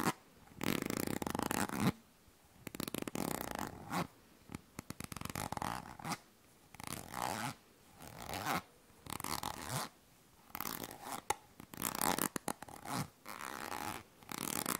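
A yellow plastic cosmetic cream tube is handled close to the mic while long nails scratch and rub along its body. Bursts of crackly, zipper-like scraping come in uneven stretches separated by short silences, with scattered quick ticks and taps in between.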